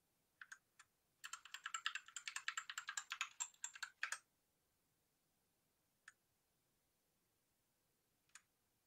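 Fingertips of one hand press keys on a white Rexus Daiva 65% 68-key south-facing gaming mechanical keyboard with a plastic case, RGB lighting and a green coiled cable. A few separate clacks lead into a quick burst of rapid typing of about three seconds, followed by two lone keystrokes. Each press is a short, bright, clicky snap with no low-end thump and almost no ring.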